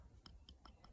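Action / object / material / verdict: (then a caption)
tap / split oak board / oak wood / dry. A freshly split oak board, about three-quarters of an inch thick and meant to become a bow drill fireboard, is tapped four times. Each tap gives a short, dry, clicky knock with a quick decay over a low rumble. The sharp, resonant taps indicate the oak is dry.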